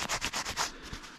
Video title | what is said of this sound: Applying Armour Detail Supply Armour Quartz 3+ Year Coating To Your Vehicle | you can just hear how crispy that is it's not as crispy as the pro one because there's less solids in there